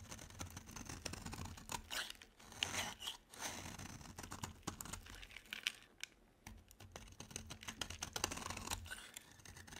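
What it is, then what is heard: Dry bar soap. A metal utility blade scrapes crumbly shavings off a small, solid, rectangular bar of dry soap, blue outside and tan inside, held in one hand. The scraping is a quiet, dense run of dry, crisp crackles and rasping strokes, mostly bright and high. Short louder bursts stand out over a faint low rumble.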